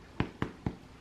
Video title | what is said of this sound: Ultimate Super-Soft White Bread | see if it sounds Hollow